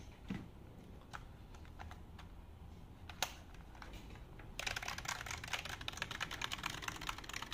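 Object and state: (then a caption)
Plastic computer keyboard. A full-size black plastic wireless keyboard with a hollow body is held up in both hands while fingertips and nails tap its keys. A few scattered, bright clicks sound over a quiet hiss, then at about four and a half seconds the tapping becomes a dense, rapid run of crisp, hollow plastic clicks that continues to the end.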